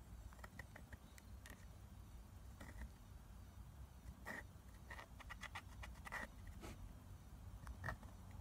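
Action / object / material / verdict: tap / plastic eyeshadow palette with pressed powder pans / plastic / none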